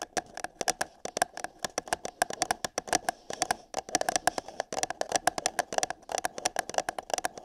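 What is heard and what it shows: Long nails tap and scratch rapidly on the side of an empty, hollow printed paper cup held over a binaural microphone ear. The dense, irregular stream of short, dry clicks carries a hollow tone around 730 Hz with bright crisp edges, and each tap dies away almost instantly.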